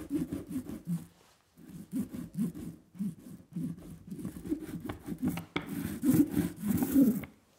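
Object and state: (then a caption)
Inked linoleum block rolled with a brayer. A small red rubber brayer is rolled by hand in repeated strokes across a flat, solid linoleum printing block with a leaf pattern and tacky black ink. The result is a soft, sticky, rhythmic rolling and rubbing sound with a low-mid body, a brief pause early on, and brighter tacky crackle in the last strokes.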